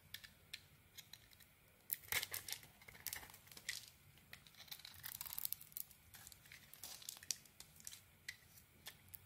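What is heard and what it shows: A small metal blade shaves strips off the surface of a solid, purple polka-dot coated bar of soap with a white core, held in the hand. A quiet series of bright, crisp scraping and crackling strokes is heard, each brief and dry with almost no ring, with a louder burst of shaving near the start and midway.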